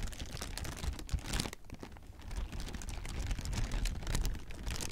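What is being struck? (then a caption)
Plastic air-cushion packing. Clear, hollow plastic air-pillow packing is crumpled and squeezed with the hands, producing dense, continuous crinkling and crackling with bright, sharp snaps over a soft low rumble. The crinkling briefly eases around the middle of the clip, then picks back up and continues steadily to the end.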